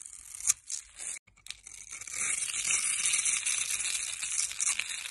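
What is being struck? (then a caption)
Bar of soap cut with a metal blade. A metal blade scrapes and cuts a solid rectangular grey bar soap with white stripes, held in the hand, into small cubes. Short, dry, bright scraping bursts with brief pauses in the first two seconds give way to a steady, crisp, high-pitched scraping and crackling. There is almost no low end.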